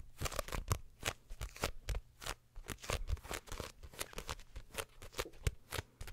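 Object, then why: Paperback paper book. A small, closed paperback My Hero Academia manga volume with a paper cover and pages is held up near the mic and tapped and flipped with long nails and fingertips. The result is a rapid, uneven run of short, dry taps and papery riffles, each with a soft low thump and a crisp, bright edge that dies away almost at once.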